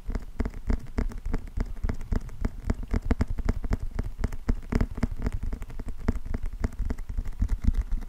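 Fingertips and nails tap and scratch the glossy cardboard cover of a closed paperback book with a green spine, held in both hands. A steady stream of quick, soft, dull taps and light scratches blends into a dense patter, mostly low and muffled with no ring after each tap.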